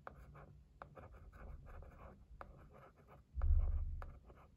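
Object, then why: Cardboard gift box. A thin wooden stick scratches and taps across the lid of a white printed cardboard gift box, making dry papery scraping strokes broken by sharp, brief taps. A dull low rumble swells briefly near the end before fading under the scratching.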